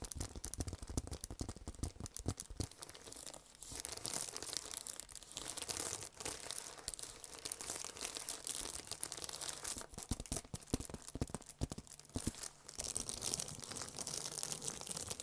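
A flat gold foil-embossed paper envelope, held up, is crinkled and scratched with fingertips and nails. The result is a quiet, continuous stream of dense, bright crinkling and crackling with sharp scratchy clicks throughout.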